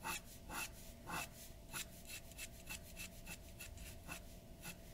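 A glass dip pen's nib scratches across a large, flat sheet of white drawing paper on a wooden table while filling in dark areas. Quiet, dry, bright scratching comes in short, uneven bursts of strokes with a soft rasp between them, over a faint steady low tone.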